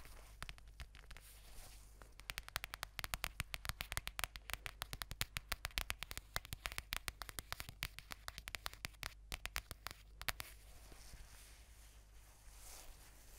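Long painted nails and fingertips scratch and rub a mint-green, fluffy faux-fur notebook cover with a "Chill Pill" patch, notebook-sized and solid, held up close beside the microphone. Rapid, dense, crackly scratching clicks with bright, hissy texture sound over a steady low hum, thinning toward the end into softer brushing.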